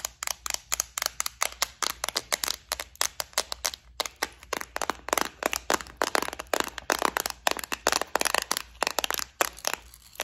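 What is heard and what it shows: Long nails tap and scratch the compartments of a clear plastic bead organizer case filled with gold studs. About 48 sharp, dry, bright clicks and scrapes come in a rapid, uneven stream, each cutting off almost instantly with no ring.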